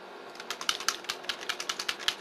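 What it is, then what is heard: Foundation bottle with a mixing ball inside. A bottle of Kat Von D True Portrait liquid foundation is shaken, and the little mixing ball inside rattles against it in quick, sharp clicks. About 14 bright, high-pitched rattles sound in a little over two seconds, which is normal for the ball mixing the product.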